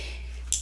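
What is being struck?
Small plastic lipstick tube with a mixing ball inside.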